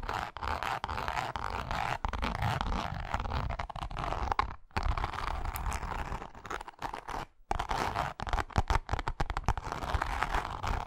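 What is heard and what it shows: Long acrylic nails on both hands scratch and tap the textured face of a small, flat pink wallet with a cross-grain faux leather surface, held flat. A dense, continuous scratchy rustle with quick tapping runs throughout, with a low, rumbly body and two brief pauses near 4.7 and 7.4 seconds. The closing seconds turn choppier, with more separate taps.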